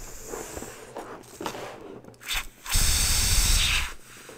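Long bare nails rub and scratch the surface of a small, hollow, air-filled pink pearlescent latex balloon held in the hands. A few faint, scratchy strokes come first, followed by a louder, sustained hissing rub with a low rumble that runs about a second and a half before dropping back to quiet.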